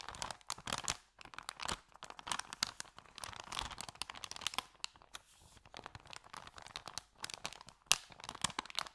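An empty white paper Subway bag with green print is held in both hands while fingers bend and crinkle its paper edges. Dense bursts of crisp, bright crackling and crinkling come in irregular flurries separated by short pauses, with almost no low end. The sound is dry, with each crackle stopping immediately.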